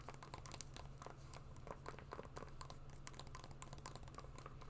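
Long nails tap and scratch across the suede of an empty brown suede wedge shoe. Quiet, dense, crinkly scrapes and soft, short taps with a bright edge follow each other closely. A steady low hum runs underneath throughout.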